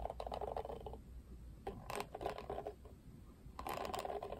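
Fingertips scratch and flick the plastic bristles of a plastic paddle hairbrush with a black cushion. Quick, dry plastic clicks and rattly ticks come in bursts, with a quieter scratchy patch in the middle. The ticks cut off almost at once with no ring.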